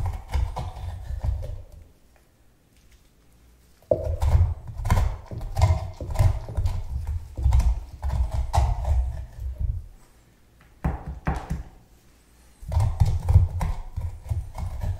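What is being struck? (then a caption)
Pumpkin scraped with a metal spoon. A gloved hand scrapes and knocks a metal spoon against the inner wall of a medium orange pumpkin, which has its top cut off and is partly hollowed but still holds seeds and flesh, while the other gloved hand steadies it. The sound is a series of low, dull, hollow scraping and knocking bursts in several clusters, with two quiet pauses between them.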